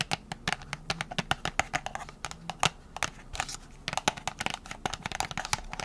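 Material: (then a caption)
Cardboard. Long nails tap rapidly on a small printed cardboard box with a plastic window holding press-on nails. The taps are sharp, dry and clicky, with bright crinkly edges and almost no ring, over a faint low hum.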